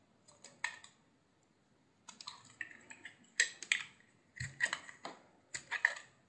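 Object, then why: Soap bar shaved with a knife blade. A hand-sized, solid cream-white soap bar with a blue rim is shaved with a utility knife blade. It gives short, crisp, bright scraping clicks in uneven clusters separated by brief pauses, each stroke dying away almost instantly.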